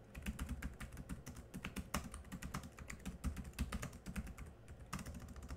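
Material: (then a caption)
Plastic. Both hands type quickly with their fingertips on a laptop keyboard with black plastic keys. The result is a fast, uneven stream of short clicky taps, each with a dull low thump and a brief bright edge that fades almost at once.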